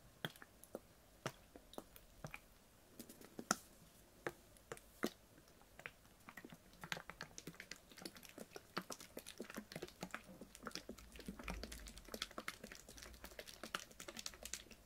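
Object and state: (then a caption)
Plastic water bottle. A clear, ribbed PET water bottle with a blue cap, full of water, is held and tapped with fingernails. Sparse, sharp, bright clicks in the first few seconds give way to a faster, denser patter of quiet, dry taps that die away almost instantly.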